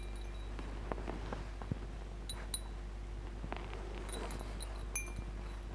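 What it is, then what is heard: Metal tube wind chime with glass beads. A wall-hung wind chime of hollow aluminium-look metal tubes on a metal bar, with small glass crystal beads strung between them, is stroked, brushed and tapped with fingertips and nails so the tubes and beads swing and clink. Soft, irregular clicks and light clinks are scattered over a steady low hum, with a few brief bright ringing tones that fade quickly.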